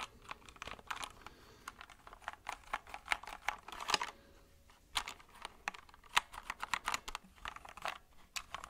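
A compact white mechanical keyboard with plastic keycaps is held at an angle and then laid flat in front of the mic while fingertips and nails tap the keys. Many short, sharp, bright plastic clicks come in uneven bursts with almost no low end, and the taps die away almost instantly. There is a brief lull near the middle before the tapping picks up again.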